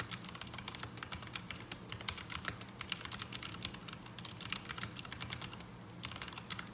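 Fingertips of both hands type on a black mechanical keyboard with ABS plastic keycaps resting on a desk mat, producing a steady stream of rapid, bright, short clacks. The keystrokes decay almost instantly over a faint low hum, giving an unsatisfying typing sound.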